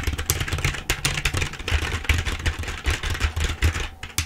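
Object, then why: Plastic computer keyboard. Rapid typing with long nails and fingertips of both hands on a black plastic full-size computer keyboard held in front of the face. Quick, dense plastic key clicks and clatter, with bright, sharp tops over a steady low hum.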